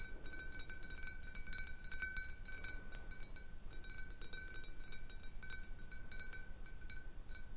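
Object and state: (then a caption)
Glass bottle with a little water. Fingernails tap the sides of a large, hollow, clear glass bottle holding a little water as it sits on a table. The quiet, irregular clinking rings with a short glassy tone near 1.5 kHz and bright overtones, over a soft low background rumble.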